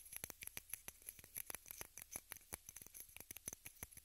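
A small rectangular pink plastic case, held in both hands, is tapped and scratched with long red nails. The result is a quick, quiet run of sharp, bright clicky taps that stop dead, mixed with faint dry scratching.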